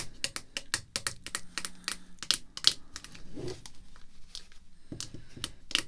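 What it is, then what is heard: Plastic graded card slab. Red artificial nail tips tap quickly on a clear hard plastic graded card slab holding a baseball card, resting on black cloth. The taps are sharp, bright clicks with almost no ring, grouped in rapid bursts. Partway through, the slab is flipped from front to back with a brief soft shuffle before the tapping resumes.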